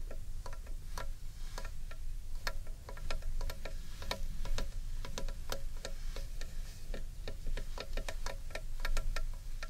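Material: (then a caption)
Wood. A large, hollow carved wooden bowl is held upright in one hand while fingernails tap quickly on its outer surface. Each tap is a crisp, bright click with a short hollow ring, over a steady low rumble.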